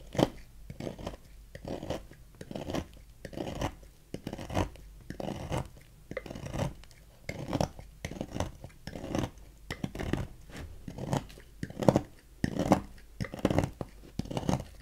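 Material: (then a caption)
Soap. A thin metal knife carves long flakes from a palm-sized red Safeguard bar soap with embossed letters, held in the hand. Soft, dry scraping strokes repeat at an uneven pace, each a short rasp with bursts of muffled low-mid texture.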